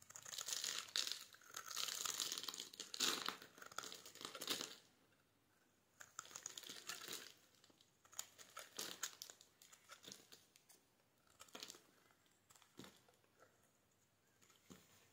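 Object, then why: Bar of white soap. A solid, palm-sized white soap bar scored with cuts is held in the hand and scraped with a metal utility knife blade, with chips falling off. Dense bursts of bright, dry crinkling scratches come first, then after a brief pause, softer, sparser scraping strokes follow.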